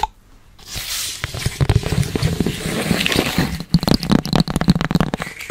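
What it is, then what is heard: Long cardboard box. A long, narrow, hollow tan cardboard box, held horizontally, is tapped and scratched with long red acrylic nails and fingertips. After a quiet start, a dry scratching rasp gives way to dense, crunchy scraping mixed with hollow, low thumping taps. After a brief pause, a run of sharper, quick-decaying taps follows.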